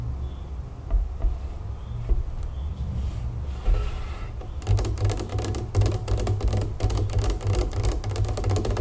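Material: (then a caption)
Plastic. Long nails tap and scratch the sides and label of a large plastic jug full of pink raspberry lemonade standing on a wooden table. Sparse, soft taps over a low rumble give way, after about 4.6 seconds, to fast, dense tapping with short dry clicks.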